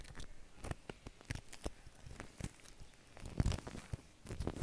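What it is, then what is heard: Shaving cream foam. Fingers push and drag through a large mound of white shaving cream foam on a plastic sheet, squishing it. Soft, quiet wet crackles and squelches repeat throughout, with a brief louder low squish near the middle.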